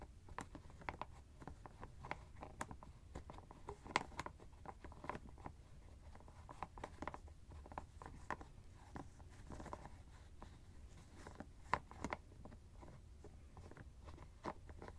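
Fingertips and nails tap and scratch the white plastic screw cap of a teal fabric ice bag. The result is a quiet, steady run of quick, dry clicks and light scratchy patter with no ring after each touch, over a soft low rumble.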